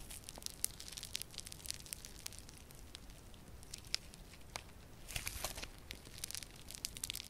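Yellow crunchy foam-bead slime is squeezed and kneaded in both hands with purple nails. Quiet, dense crackling and bright snapping pops come from the beads. The crunching grows busier and louder toward the end.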